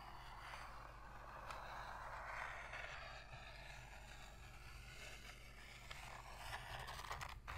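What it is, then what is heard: Cardboard box lid being scratched. Long pink nail tips scratch the inner bottom and rim of an empty, shallow white cardboard box lid. A steady, dry rasping scrape fills the midrange, with brief brighter scratchy flicks and a constant low hum underneath at an even, quiet level.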